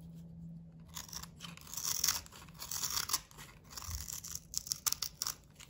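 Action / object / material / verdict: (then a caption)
scrape / glitter-coated bar of soap / soap / none. A box cutter blade shaves the cream interior of a solid blue, glitter-coated bar of soap held in the hand. It makes dry, crumbly scraping with bright, crisp rasps that come in uneven strokes and swell to a few sharper peaks near the end.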